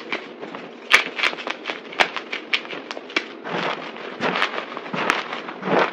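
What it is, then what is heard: Crushed dry soap chunks. Both hands press down with palms and fingers on a pile of white, broken, dry soap chunks on a table, crushing them. The result is a steady run of crisp, bright crunches and crackles, with a few sharper snaps standing out above the dense, gritty texture.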